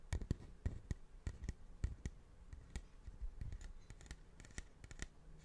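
A large, curved, polished cattle horn, light with dark streaks and hollow at its wide end, is held in one hand and tapped and scratched with fingertips and nails. Many short, dry taps with almost no ring stand out over a soft, continuous scratching. The sound is mostly low and dull, with faint bright clicks at the peaks.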